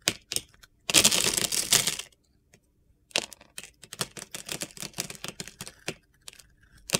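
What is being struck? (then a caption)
Bar of soap. A metal utility knife blade scrapes and carves crunchy shavings off a hand-sized solid bar of soap, held in the hand, with a yellow glitter coating and a light blue inside. Bright, gritty crunches are heard: a few short scrapes, then a dense sustained scrape lasting about a second. After a pause, a rapid run of sharp, crisp crunching cuts follows.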